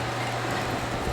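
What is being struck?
Nothing is struck.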